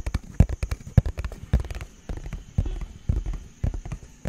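A small, hollow, purple printed cardboard product box is held in front of the mic and tapped rapidly with fingertips and nails. About twenty short, dull, hollow thuds land in an uneven rhythm, with sharper clicks where the nails strike. A faint, steady high whine sits underneath.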